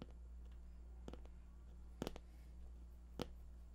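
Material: Cardboard.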